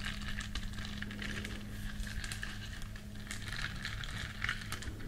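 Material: Silicone.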